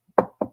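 Two quick knocks on a wooden surface, made for luck, each a short, dull mid-range thud that dies away almost at once. A faint soft tap comes just before the first knock.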